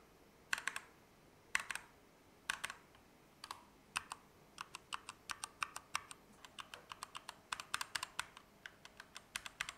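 Both hands type with fingertips on a compact Keychron K2 mechanical keyboard with Gateron Red switches, dark plastic keycaps, an aluminum frame and RGB backlight, resting on a desk mat. Short, bright clacks come in a few separate bursts at first, then settle into a faster, steadier run of key presses. Each press dies away almost instantly, with very little low end and a faint, even background hiss.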